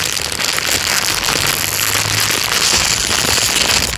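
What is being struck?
Thin plastic bag.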